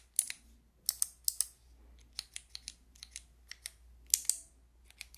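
Long nails click and tap the white keycaps of a handheld fidget toy with a clear plastic frame. About 17 sharp, bright, dry plastic clicks come in quick pairs and scattered single taps, each stopping almost at once over a faint low hum.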